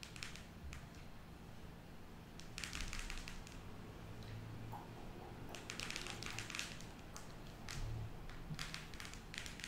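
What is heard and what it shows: Long nails tap on the cover of a closed cardboard eyeshadow palette as it lies on a table, and then as it is held up. Quick, bright, dry clicks come in clustered bursts over a steady low rumble, each tap dying away almost at once.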